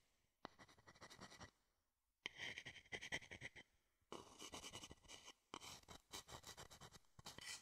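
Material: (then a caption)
Wood. A small, hollow, empty wooden bowl is held in one hand close to the microphone while the tip of a wooden spoon or stick rapidly scratches and taps its outer and inner surfaces. Four bursts of dry, bright scratching and quick tapping are separated by brief pauses, with a steady band near 2 kHz and very little low end.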